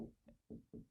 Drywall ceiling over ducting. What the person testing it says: if you hear that it sounds a little Hollow